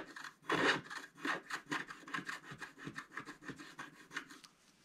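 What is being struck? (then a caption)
Scratch-art paper card with wooden stylus. A wooden stylus scratches the black coating near the top of a flat scratch-art paper card. A quick series of short, dry scratching strokes sounds, with a rasping tone centered around 1.8 kHz and some bright hiss. The first stroke is the loudest, and the strokes thin out and fade toward the end.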